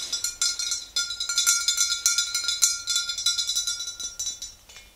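Long green-painted nails of both hands tap the lower sides of a tall, clear glass swing-top bottle that stands upright, mostly full of yellow liquid. A rapid, uneven run of about 29 bright, high clinks is heard, each ringing only briefly over a faint steady tone. The taps fade toward the end.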